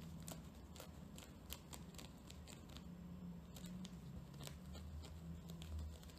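Long painted nails scratch a round, flat, dry natural loofah pad with a loop, its fibrous, porous surface held up close. Quiet, dry crackling comes through as a steady run of short, bright scratchy ticks over a low background hum.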